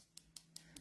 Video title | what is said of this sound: dip powder for beginners | if you tap it and it sounds quite hard and crispy you'll know it's ready to be filed